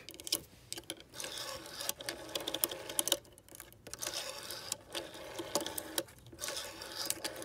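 Long painted nails tap and scratch the clear plastic finger wheel of a vintage rotary telephone, which has a brass-coloured metal rim and sits in a green body. Quick, bright clicks and dry scratching come in dense, uneven bursts with brief pauses between them, and each sound dies away almost instantly.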